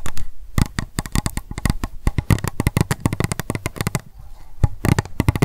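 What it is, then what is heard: Empty plastic cup tapped with nails. Long acrylic nails tap and scratch rapidly on an empty, hollow, pink transparent plastic cup held upright. The result is a fast run of sharp, dry clicks, each with a short hollow low knock that dies away almost at once. Softer scratchy rustles fill the gaps between the taps.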